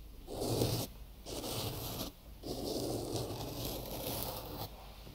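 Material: Cotton gauze.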